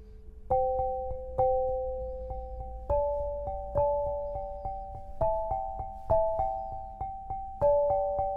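An 8-bar lithophone of solid black granite slabs on a low frame is struck with two soft-headed mallets, red and green balls on wooden sticks, playing a slow, unhurried melody. Each strike gives a clear, mellow tone in the mid range, centered around 580 Hz with a pitch a little higher above it. The tones ring on and fade gradually, overlapping into the next note.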